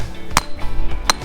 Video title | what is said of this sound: Banded Iron Formation and Marble in the Black Hills | sounds like glass